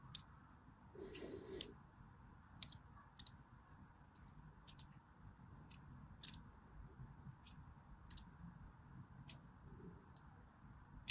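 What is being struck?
Bar soap.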